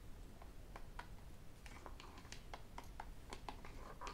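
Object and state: Plastic sports water bottle.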